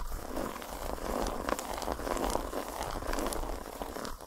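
Long nails tap and scratch a solid, segmented dark chocolate bar lying flat on a towel. The result is a steady stream of dry, crackly scratching with occasional sharper ticks, mostly mid-toned and fairly quiet.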